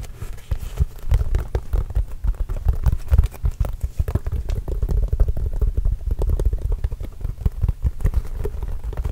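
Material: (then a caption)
Leather. A full-size, orange, signed Spalding leather basketball, hollow and inflated, is held and turned close to the microphone while fingertips tap across its surface. The result is a rapid, continuous patter of soft, deep thuds that die out almost instantly, with almost nothing in the high range.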